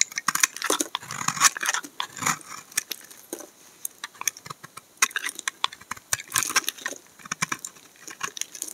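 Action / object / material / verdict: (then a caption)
scrape / bar of laundry soap scraped by a steel blade / soap / none. A steel utility knife blade scrapes curled shavings off the face of a solid, dark brown soap bar held in the hand. The result is a dense run of short, dry, bright scraping crackles with almost no low end, each stroke dying away almost at once between brief pauses.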